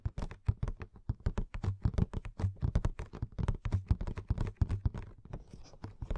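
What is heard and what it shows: Long painted nails and fingertips tap and scratch a hollow, roughly 15 cm tall Madame Maxime Funko Pop box made of printed cardboard with a clear plastic window and the figure inside. A rapid, steady run of quiet, dull, low taps and soft scratches fills the clip, each one dying away almost instantly.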